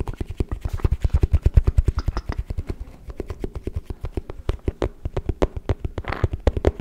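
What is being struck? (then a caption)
Wooden folding chess board. A small folded wooden chess board with a checkered inlay, a hollow box-like case, is held upright near the mic and tapped rapidly with fingertips and nails. The taps come as a fast, steady stream of short hollow wooden knocks with deep low thuds, about a second of softer tapping in the middle. A brief brighter scratch sounds near the end.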